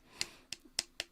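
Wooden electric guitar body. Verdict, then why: Hollow. Knocking on the wooden body of an electric guitar with a hard tail and a burnt relic finish. Four short, sharp knocks, each with a bright, clicky tone and almost no ring. The dry taps reveal that the body is hollow inside.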